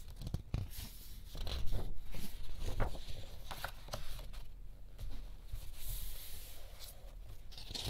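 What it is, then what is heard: Thick paper art book, pages turned. Fingertips slowly lift and turn the thick glossy paper pages of a large hardcover-size art picture book lying open on a yellow checked cushion. The paper flexes and rubs against itself, making soft crinkling swishes and brief papery rustles over low, dull thumps as each page settles.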